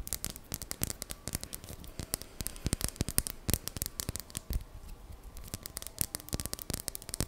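Long dark-painted nails rapidly tap and scratch a palm-sized, solid, smooth, dark greenish polished labradorite palm stone held close to the microphone. Quick, dry clicks with bright tops die out almost instantly, mixed with soft scratchy rasps over the glossy surface.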